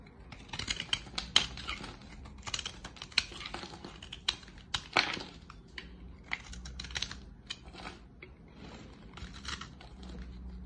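A steel utility-knife blade shaves and cuts thin curls and flakes from the edge of a solid, dry green soap bar held in the hand. The strokes make crisp, bright scraping and cutting sounds with short, snappy clicks that die away almost at once over a faint low hum. They come in uneven bursts throughout the clip.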